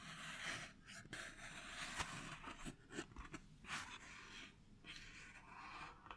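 Fingertips and nails tap and rub a small, hollow purple cardboard box of candle matches, likely filled with matches, held in the hand. Soft, breathy scratching swells alternate with light, dry taps, mostly bright and hissy with a faint low thud under a few strokes.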